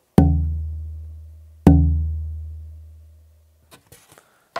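A wooden guitar bridge blank is tapped twice to compare it with other pieces of tonewood. Each tap gives a sharp knock followed by a low, resonant tone that rings and slowly fades over more than a second. A few faint clicks follow.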